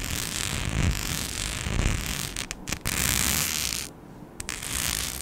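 A flat, palm-sized, rhinestone-studded mic skin sheet is scratched with long nails. The result is a dense, continuous scratchy rasp with bright high hiss and low rumbling texture, briefly broken by a few short dropouts and a quieter dip near the end.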